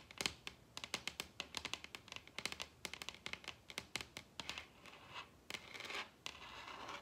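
Long red nails tap and scratch across a large, solid wooden table top. A rapid series of sharp, bright clicks is interspersed with softer scraping and scratching strokes. In the second half these turn into longer, hissy scratches.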